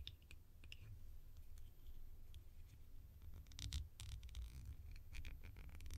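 A small, round, hollow, cream-coloured plastic lid is turned edge-on, and long nails scratch and tap along its rim. Quiet, crisp, bright scratches and short ticks sit over a steady low rumble, with a denser, louder burst of scratching in the middle.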